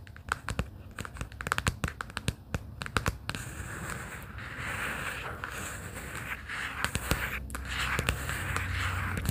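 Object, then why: Cardboard folder. Long pink acrylic nails tap and scratch the cover and spine edge of an open pastel plaid cardboard sticky-note folder resting on a fleece blanket. Sharp, dry clicks come in quick clusters for the first few seconds, then give way to a steady, bright scratching rasp that builds louder toward the end.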